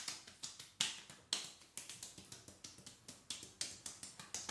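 Palms and fingertips rub and pat soaked dark denim dungarees worn while seated, over the thighs. About 22 quick, bright, wet slapping pats come at an uneven pace. Each one decays fast, with the energy mostly high and almost no low end.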